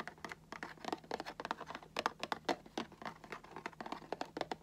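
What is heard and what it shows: Fingertips and nails tap on the cardboard top edge of a Funko Pop box with a plastic window. A rapid, irregular run of short, dry, papery taps sits in the midrange with almost no low end. Each tap dies away almost instantly.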